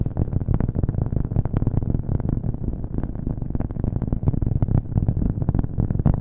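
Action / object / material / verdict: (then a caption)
tap / cork coaster / cork / none. A round, flat, solid cork coaster is held next to the microphone and tapped quickly with fingernails, with an echo effect applied. The result is a dense, continuous stream of rapid, muffled taps that sound deep and thumpy, with almost no high or bright content.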